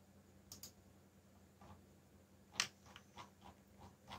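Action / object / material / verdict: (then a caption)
tap / plastic mechanical keyboard / plastic / none. Fingertips type on a backlit mechanical keyboard with black plastic keycaps, producing sharp, bright clicking keystrokes. The keystrokes come in irregular bursts, with a louder click near the middle and short, dry decays over a faint low hum.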